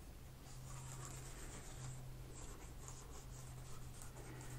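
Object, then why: Plastic laptop keyboard rubbed with a cotton swab. A cotton swab is scraped and rubbed between the black plastic keys of a laptop keyboard, making a quiet, continuous scratchy rubbing with soft bright swishes. A steady low hum runs underneath throughout.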